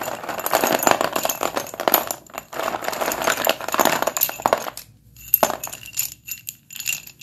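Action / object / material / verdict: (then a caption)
shake / chalk sticks in a plastic bowl / chalk / none. Hands push, rake and scoop a heap of solid Sundeep dustless pure white chalk sticks in a blue plastic bowl, making a dense run of dry, bright clacks and rattles as the sticks knock against each other. After about five seconds the clatter briefly stops, then returns as sparser, sharper clicks with a high ringing edge.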